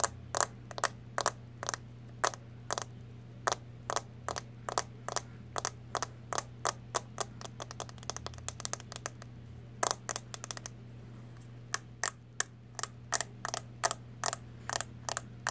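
Long nails tap on the lid and back of a small, round, brown plastic CoverGirl Clean powder compact, which is closed. About fifty sharp, bright clicks come in uneven bursts, some quick and clustered, some spaced apart. A steady low hum sits underneath.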